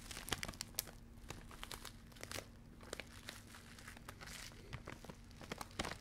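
A full, soft blue plastic bag of grated coconut is crinkled, squeezed and scratched with long red-painted fingernails close to the mic. The result is quiet, dry crackling with many sharp, bright clicks and rustles over a faint, steady low hum.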